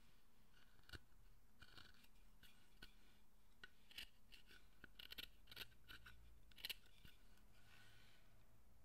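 A fine chisel scrapes detail near the face of a solid wooden statue of Zōchōten held in the hand as it is carved. Short, crisp scraping strokes come at irregular intervals over a quiet, low background hum, each cut bright and dry with almost no ring.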